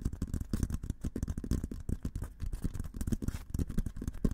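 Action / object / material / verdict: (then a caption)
tap / painted steel military helmet / steel / none. An olive-green painted, hollow steel military helmet is held in both hands while fingertips tap and scratch its sides. The result is a rapid, uneven run of soft, dull, low taps with a faint hollow tone around 220 Hz, mixed with light scratching. Each tap dies away almost at once, with no bright ring.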